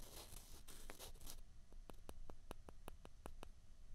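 Two small, hollow white plastic ping pong balls are rubbed and scraped against each other between the fingers. First comes a bright, hissing scrape, then a quick run of sharp, dry clicks as the balls tap together.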